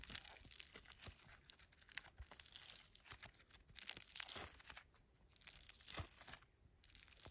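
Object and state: Foam bead slime (floam).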